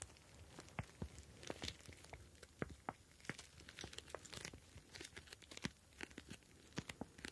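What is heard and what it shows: A clear plastic gel bead ice pack, a pouch filled with blue gel beads, is kneaded and pinched with fingertips, shifting the beads inside. It gives quiet, irregular crinkling and crackling with short, sharp clicks and soft squishy rustles, each snapping off almost instantly with bright high edges.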